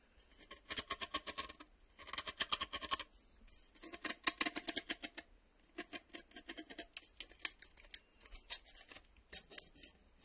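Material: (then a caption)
Plastic. Fingertips and nails tap fast on the ribbed underside and reel windows of a black plastic VHS cassette with a hollow shell. The taps come in quick bursts with short pauses between them. Each is a bright, dry click that dies away almost at once, with little low end.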